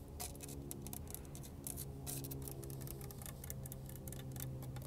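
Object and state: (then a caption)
Concrete garden frog statue. Long acrylic nails and fingertips tap and scratch the rough surface of a large, solid cast-concrete frog statue with flaking white paint, sitting outdoors on mulch. A steady run of quick, dry clicks and scrapes plays over a constant low hum.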